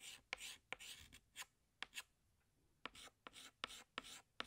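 A hand draws leaves on a large, flat black chalkboard with a green chalk stick, scratching it across the surface in short strokes. Each stroke gives a bright, dry, hissing scrape, often starting with a sharp tap. The strokes come in quick bursts separated by brief quiet gaps, with almost no low end and no ring.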